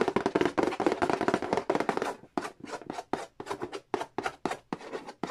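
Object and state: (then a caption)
Cardboard board game box. Fingertips tap and scratch the lid and edge of a hollow cardboard Monopoly board game box. The first two seconds are a dense, fast flurry of dry, papery taps and scratches with a hollow midrange body. It then thins into separate short, crisp taps with brief gaps between them, each dying away almost instantly.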